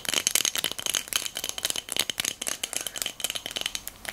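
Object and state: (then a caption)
Glass votive cup filled with beads, shaken. A small pink hobnail-textured glass votive cup filled with pearl beads is tapped with long nails and shaken so the beads rattle inside. The result is a fast, dense run of about two dozen sharp, bright clicks and glassy rattles, ringing around 3.1 kHz with almost no low end.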